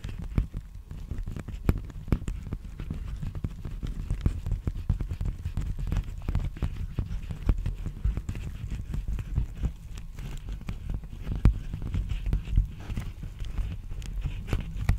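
Fingertips tap and scratch a large black poly bubble mailer envelope, hollow and apparently empty, held in both hands close to the microphone. It makes a steady stream of soft, dull, deep thumps mixed with rustling scratches, with almost no bright or crisp edge. Each tap dies away instantly.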